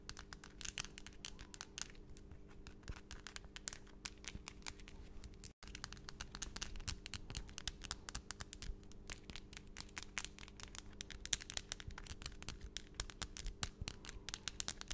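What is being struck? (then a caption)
Long acrylic fingernails. Long, solid acrylic nail extensions on both hands tap quickly against each other and scratch lightly, held close to the microphone. The result is a dense stream of sharp, bright clicks and crinkly scratches over a steady low hum, with a brief dropout near the middle.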